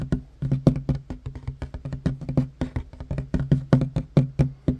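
Short fingernails and fingertips of both hands tap fast across a large, solid, worn wooden tabletop. Around thirty quick, dull knocks sound with a low, hollow thump near 130 Hz and very little brightness. Each tap dies away almost instantly.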